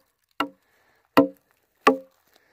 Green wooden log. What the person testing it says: listen to that crack on this live one